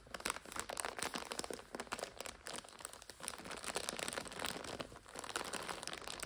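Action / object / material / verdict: scrape / plastic-wrapped instant noodle multipack / plastic film / none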